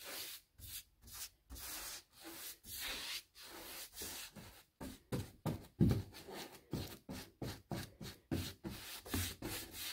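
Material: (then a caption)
Composite. A paint brush held in the hand is scratched and rubbed across the panel edges of a white, textured, molded composite six-panel interior door, likely hollow-core, lying flat. About seventeen separate brushing strokes are heard as dry, scratchy rasps with bright bristle hiss over a soft low body from the panel. The strokes grow shorter and quicker toward the end.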